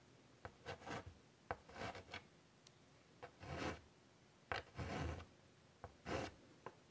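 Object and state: Chalk on a chalkboard.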